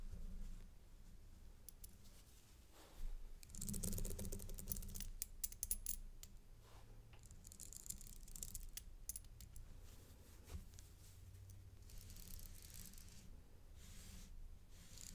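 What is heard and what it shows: A thin black stick taps and slides along a thin gold-tone metal paperclip-link chain necklace with light, solid links, a round pendant and a toggle clasp, laid flat on a dark fabric mat and held by white-gloved fingers. Quick, light, dry clicks and brief metallic scrapes come in irregular bursts, busiest between about 3 and 6 seconds, over a low, quiet background.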